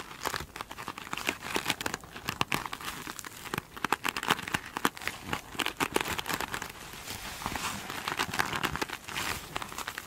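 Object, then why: Glitter-coated foam sponge. Long acrylic nails scratch over the face of a small rectangular glitter-coated foam sponge with a glittery textured surface, standing upright on a table. The result is a dense, continuous run of dry crinkling and crackling scratches with many quick bright ticks, steady throughout the clip.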